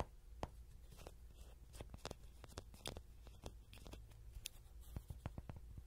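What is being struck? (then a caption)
Soft vinyl toy horse. A small yellow soft-vinyl Rody horse toy, likely hollow, is held in hand with a pin mic clipped on its ear while short fingernails and fingertips tap and scratch its body. A quiet series of short, dry taps and scrapes stands over a steady low hum, with some brief bright clicks and almost no ring after each hit.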